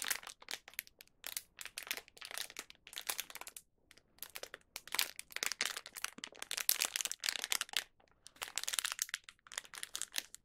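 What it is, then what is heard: Plastic snack wrapper. A small, thin plastic Young Donut snack wrapper with a donut inside is gripped and squeezed by fingertips, making it crinkle. Bright, dry crackling bursts come in quick clusters with brief quiet gaps, with almost nothing in the low end.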